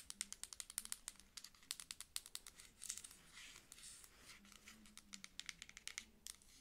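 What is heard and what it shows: Long acrylic nails tap and scratch the label and body of a dark plastic lotion pump bottle held sideways. A rapid series of sharp, dry, bright clicks runs through the clip, broken in the middle by a softer stretch of scratchy, crinkling rubbing. The sound is quiet and crisp, with almost no low end and no ring after each tap.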